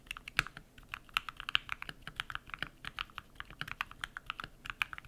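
Rapid typing with bare fingertips on a compact modded mechanical keyboard with white PBT plastic keycaps and lubed switches, set solidly on a desk. About 32 short, dry key clacks in quick, uneven succession, each with a bright, clicky top around 2.9 kHz, little low end and no ring after each press.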